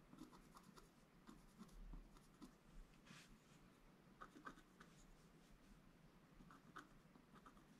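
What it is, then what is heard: Scratch art board being scratched. A wooden stylus scratches small details into a flat, black-coated scratch art paper board. Short, quiet, dry scratching strokes come in irregular bursts over a soft, low background hum.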